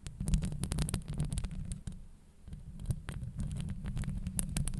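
Long nails scratch and tap the hollow metal mesh grille of a microphone. The result is a dense stream of deep, thumping low rumble, with quick, scratchy clicks flickering up into the high range. The sound eases briefly in the middle before building back up.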